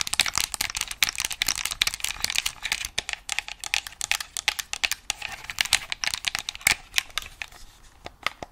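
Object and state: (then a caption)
Plastic game controller. Long acrylic nails tap and scratch the shell and buttons of a hollow white and black plastic PS5-style game controller held in both hands. The result is a rapid, uneven stream of bright, dry clicks with almost no ring, mixed with a thin scratchy rustle and very little low end.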